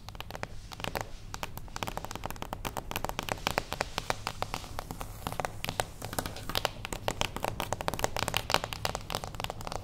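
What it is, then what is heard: Cardboard box tapped with fingernails. A small, closed beige cardboard gift box standing on its edge is tapped very fast with long acrylic nails. The result is a dense, continuous stream of short, dry clicks with bright, crackly tops and a hollow low body, each tap dying away almost instantly.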